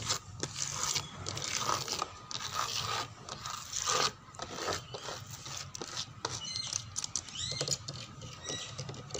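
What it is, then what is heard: Wooden door scratched. Fingernails scratch and pat a dark brown wooden door panel and its frame edge, making dry, bright rasping scrapes mixed with light tapping. The sound is mostly high and close, with short strokes and soft pats repeating over the clip and a faint steady tone around 1.2 kHz underneath.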